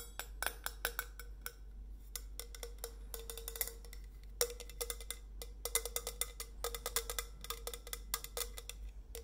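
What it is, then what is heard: Stainless steel insulated bottle. Long nails tap along the body of a hollow, painted stainless steel insulated bottle as it is tilted in the hands. The result is rapid, dry clicking taps in quick bursts, each with a brief hollow ring near 480 Hz and bright, clicky edges, over a steady low hum.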